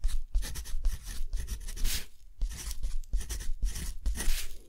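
A steel dip pen nib scratches across a hand-held, deckle-edged sheet of thick textured cotton paper while writing by hand. Short bursts of bright, rough scratching follow one another with brief pauses between strokes, over a steady low rumble.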